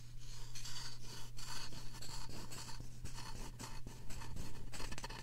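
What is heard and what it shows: Two thin wooden sticks, one in each hand and held by painted fingernails, scratch and rub both soft, solid-rubbery silicone ear-shaped covers on a binaural microphone at the same time. Quick, uneven bursts of bright, raspy scratching rise and fall continuously over a steady low hum.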